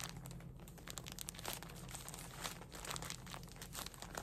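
A full, soft plastic package of cotton pads is crinkled and squeezed with fingertips and nails, giving a continuous stream of quiet, bright crackling bursts. A steady low hum runs underneath throughout.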